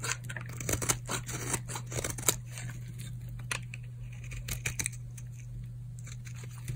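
A metal blade shaves and scrapes flakes off a solid purple bar of hard, dried soap held in the palm. The result is a series of sharp, dry, bright scraping crunches over a steady low hum.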